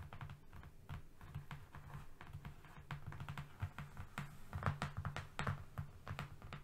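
Both hands quickly tap a flat brown cardboard strip with short painted nails. The result is a rapid, uneven run of soft, dull clicks with a low, hollow thud under each one. Each tap dies away almost at once.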